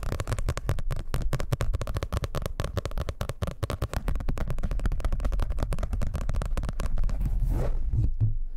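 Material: Paper.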